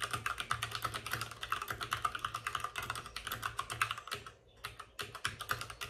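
Both hands type rapidly with short-nailed fingertips on a white full-size plastic mechanical keyboard with plastic keycaps and RGB backlighting, resting on a desk with a padded wrist rest. A dense stream of short, clicky plastic taps carries a bright clatter centered around 1.3 kHz, with a light low thump under each stroke. The typing briefly pauses just past the four-second mark, then resumes at the same quick pace.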